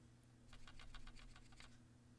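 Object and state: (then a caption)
Solidly built camera lens with little rattle. A Panasonic 12-60mm camera lens, plastic with a metal mount, is shaken, and only its focusing element gives about eight faint, light clicks over a steady low hum. The lens shows little rattle, a sturdier build and a step up in build quality.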